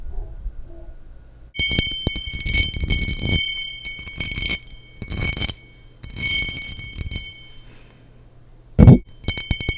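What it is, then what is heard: Cut crystal glass tumbler. Long nails tap the faceted surface of a small, hollow, empty cut-pattern crystal glass tumbler held near and over a microphone. Bursts of quick, bright clinks leave sustained high ringing tones, with a deeper thump under some taps and one louder, low bump near the end.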